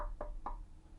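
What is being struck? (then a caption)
Small veneered bookshelf speaker cabinet. Two quick knocks on the veneered cabinet of a lightweight Neumi BS5 budget bookshelf speaker during a knock test. Each knock is a short, hollow thud centred around 600 Hz–1 kHz that dies away within about a tenth of a second, over a steady low rumble.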